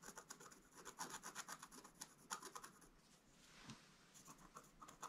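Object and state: Scratch-art card page.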